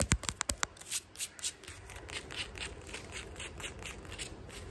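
A flat sandal with black and maroon synthetic straps over a tan footbed is held in hand while fingernails tap and scratch the straps and footbed. A quick run of sharp, bright taps opens the clip, then gives way to a steady, hissing scratching with soft rhythmic swells.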